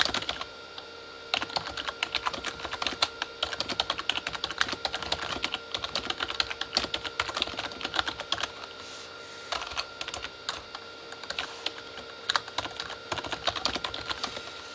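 Both hands type with their fingertips on a full-size Corsair K35 plastic mechanical keyboard with red-backlit plastic keys. The result is a rapid, continuous stream of short, bright, clacky key clicks that die away almost instantly, with brief pauses between bursts and a faint steady hum underneath.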